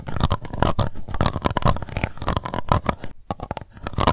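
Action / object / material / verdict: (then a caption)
scrape / plastic cup / plastic / none. Long white nails scratch and tap the embossed base of an empty, hollow, translucent pink plastic cup. A dense run of quick, dry scratches and clicks carries a faint, steady hollow ring near 1 kHz, with a brief pause just past three seconds before the tapping resumes.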